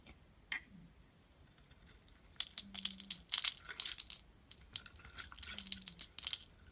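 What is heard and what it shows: A utility knife blade shaves and scrapes thin curls off a hand-sized solid orange bar of soap, white inside, held in the palm. After a single sharp click near the start, a run of crisp, bright scraping and crackling bursts follows, with fine tearing and crinkling textures. It is quiet and close, with almost no low end and no ring.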